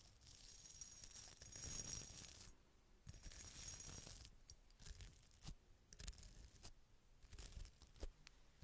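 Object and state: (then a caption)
Glass bottle scratched and tapped. A small hollow red glass bottle with a faceted, sparkly surface is held in the hand and scratched and tapped with long red nails and a small brush. Two sustained bright, hissy scratching passes are followed by a run of quick, crisp taps and clicks over a low rumble.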